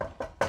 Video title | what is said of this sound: SPLASH-CAST EPISODE 1: THE MEET & GREET | It's not marble, guys. It's wood.